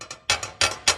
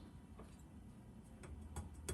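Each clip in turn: First: Quick bright clattering taps, each a short tinny double-click, from a loose table saw throat plate rocking in its seat. Second: Four faint, short taps with no buzz after, so the saw's throat plate sits tight without rattling.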